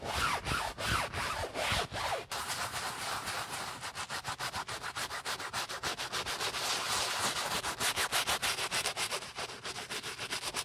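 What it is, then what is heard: Nylon handbag being brushed. A wooden-handled bristle brush with soapy foam scrubs the body and woven strap of an empty beige nylon Prada shoulder bag, with a gloved hand inside it. A few slower, louder strokes open the clip, then rapid back-and-forth brushing settles into a steady rhythm of bright, hissy rasps at about three to four strokes per second.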